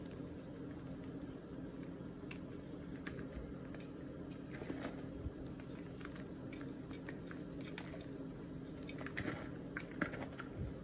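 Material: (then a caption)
Magnesium carbonate. Both hands squeeze and crush handfuls of crumbled white gym chalk (magnesium carbonate) with colored flecks in a green plastic basin, also moving a white chalk block. A quiet, steady bed of soft crumbling, crunching and rubbing of the dry, powdery chalk is broken by brief, sharp crackles scattered throughout.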